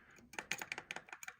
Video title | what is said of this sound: Mortice Matters - Old Style Legge Part 2 - picking the alternative type of lever set | if there's a little bit of movement in the anti-pick notch on the bottom, don't confuse that tapping